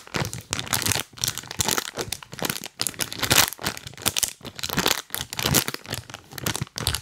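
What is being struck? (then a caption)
Plastic snack bag. A full printed plastic cookie bag is rubbed and tapped with rubber toy hands up close. Bright, crisp crinkling and crackling comes in repeated bursts with short quiet gaps between them.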